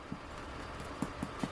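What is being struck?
Nothing is struck.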